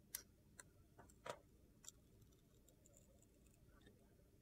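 A metal utility knife blade shaves a hand-held, solid, faceted red-and-black bar of soap with gold glitter, revealing its white core. Short, crisp, bright scraping clicks sound in quick, separated bursts, with a faint hiss between them and fading into near-quiet.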